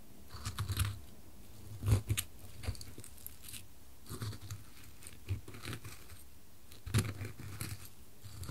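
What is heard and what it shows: A white-gloved finger rolls and knocks a small, solid dark-wood cube onto two square light-wood coasters, alternating between them in wood-on-wood taps and knocks. Soft, dull low thuds centred near 94 Hz come in scattered clusters, each dying away almost instantly, with faint bright clicks over a quiet background.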